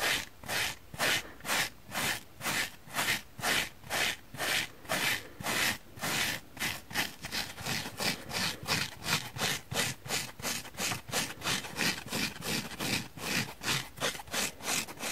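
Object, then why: Dry foam sponge. Long painted fingernails scratch a palm-sized, oval, dry yellow porous foam sponge held in the hand. The result is a run of rhythmic, bright, hissing scratch strokes with a soft rasping texture. The strokes come in steady bursts that grow quicker and closer together in the second half.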